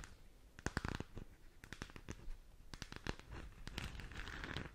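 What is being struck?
Hollow plastic sphere lamp.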